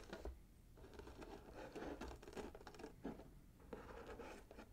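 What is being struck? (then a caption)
Cardboard box wrapped in paper with a ribbon. Fingertips and nails scratch at the gold glitter ribbon and bow and across the red swirl-patterned paper of a small, hollow, gift-wrapped cardboard box. The result is a quiet, steady run of dry scratching and papery rustling, broken by small irregular bumps and soft, dull low-end thuds.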